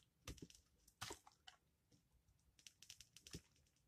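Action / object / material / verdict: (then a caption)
scrape / bar of charcoal soap / soap / none. A palm-sized solid black charcoal soap bar, held in the fingers, is carved and scraped across its textured surface with a utility knife blade. Short, crunchy cutting and scraping sounds come in quick bursts, with bright crackling detail and brief low thumps. A few strokes stand out louder than the rest.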